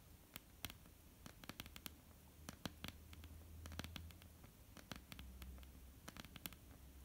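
Long polished nails of both hands tap across a flat, solid, dark wooden tabletop in a quick, irregular patter. Each tap is a sharp, dry, bright click that dies away at once, over a quiet, steady low hum.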